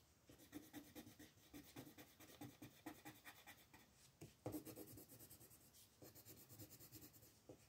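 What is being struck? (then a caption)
Colored pencil on thin paper. A dark colored pencil is scratched back and forth across a thin paper coloring page lying flat on a table, shading a house while fingers with red nails hold the sheet steady. Quiet, rapid, raspy strokes repeat in an uneven rhythm. There is a brief lull near the middle before a sharper, louder stroke and the shading resumes.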